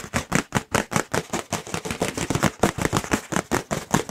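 A thin, light, white round disposable paper plate, held up near the microphones, is tapped quickly with the fingertips. About 24 soft, papery taps come in a fast, uneven flurry, each a short dull thud with a bright crisp edge that dies away almost at once.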